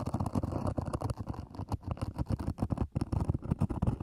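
Long nails scratch quickly across the lid of a small, black, zippered EVA hard-shell earphone case, which is hollow. The result is a dense, rapid run of dry scratching strokes with a low, hollow resonance and little high-end brightness.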